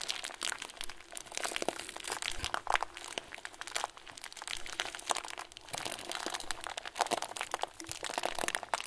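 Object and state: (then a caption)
Plastic bag of foam beads. A clear plastic bag full of tiny white foam beads, its plastic end twisted shut, is pressed and squeezed with both thumbs. It gives a steady run of dense, bright crinkling and crunching with quick crackles, lasting about nine seconds at a soft level.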